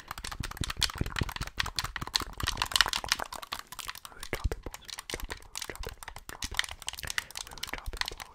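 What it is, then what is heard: Plastic game controller. Fingertips press and click the buttons and triggers of a hollow white plastic Xbox gamepad held next to the microphone. A rapid, uneven run of short, dry plastic clicks and taps continues for about eight seconds, each click bright and dying away almost instantly with a faint low thump underneath.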